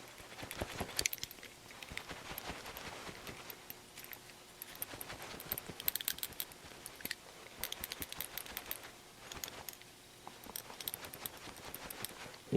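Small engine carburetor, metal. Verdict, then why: Loose. A metal carburetor for a NOMA 8hp snowblower is shaken by hand, producing a light, bright rattle of repeated sharp clicks in bursts. The sound comes from the little check valve inside moving freely, showing it is not gummed up the way it is in a carburetor that stays silent when shaken.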